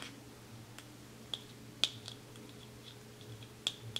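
Fingernails tap on the lid and base of a small white plastic cosmetic jar with a black lid as it is turned in the hands. Several sharp, bright clicks ring around 3.4 kHz, irregularly spaced over a quiet, low background hum.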